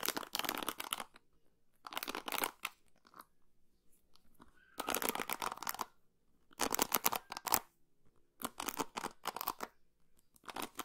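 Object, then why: Plastic paddle hairbrush. Long pink nails scratch and flick across the white plastic pins of a hand-sized orange and blue plastic paddle hairbrush held close to the microphone. Each pass makes a burst of dry, bright, crackling clicks with little low end. The bursts are separated by short silences.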